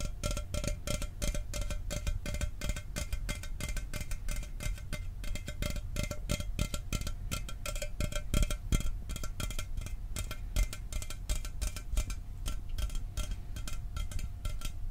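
A hollow, standard Mountain Dew aluminum soda can is held and tapped quickly with fingertips and nails. A steady stream of fast, dense taps mixes low, dull thumps with bright metallic clicks and faint tinny ringing. Each tap dies away almost instantly.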